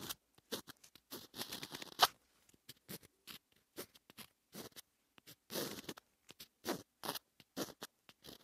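A pointed wooden stick scratches handwriting strokes through the black coating of a flat rainbow scratch-art paper sheet, leaving colored lines. Quick, dry, bright scratching strokes come in short bursts with brief pauses between them, and one sharper scrape stands out near the two-second mark.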